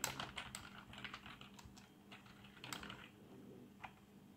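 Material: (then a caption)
Plastic. Fingertips of both hands type on a black plastic RGB membrane keyboard resting on a desk. Quick, soft clicks and taps of the keys come in an uneven stream with bright, short transients that fade almost at once. The typing is quiet, with a faint steady low hum underneath.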